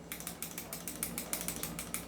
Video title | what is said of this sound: Review N Unbox of 2011 Mala Robocop & God Father | Kumakalog kasi hindi siya naka-upgrade.